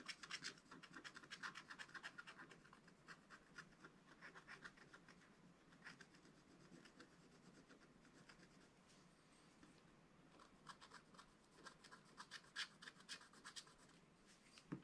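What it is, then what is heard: Scratch-art paper page being scratched. The pointed tip of a wooden stylus scratches a flat, spiral-bound scratch-art book page whose black wax coating covers colored paper. Dry, bright scratching comes in quick, uneven strokes with a rasping hiss. The strokes grow busier at the start and end, with a softer, steadier stretch in the middle.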